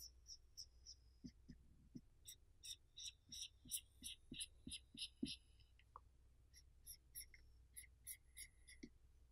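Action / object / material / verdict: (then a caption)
scrape / pumpkin rind with a felt marker / pumpkin rind / none. A black marker tip rubs over the smooth rind of a large, whole, hollowed orange pumpkin while drawing a face, as the other hand steadies the pumpkin. Short, bright, squeaky strokes come in quick, irregular bursts, with soft low thumps beneath some of them.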